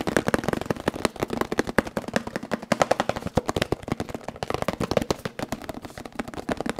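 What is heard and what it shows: A small, hollow, blue printed cardboard box is held close in front of the mic and tapped quickly with fingertips. The result is a fast, steady run of dry, dull knocks with a low, hollow tone that stop almost instantly.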